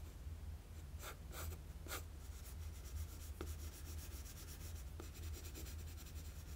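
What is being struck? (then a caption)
Graphite pencil on a sheet of drawing paper. A wooden graphite pencil rubs and shades lines on a flat sheet of drawing paper. Quiet, scratchy strokes come in short bright bursts of hiss, with a couple of sharper ticks, over a steady low hum.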